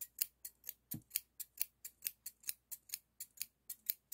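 Solid stainless steel hair thinning shears with a toothed blade, held in the fingers, are snipped open and closed 19 times. Each snip gives a crisp, bright metallic click with a short rub of blade on blade and almost no ring. The snips come in a steady, slightly uneven rhythm.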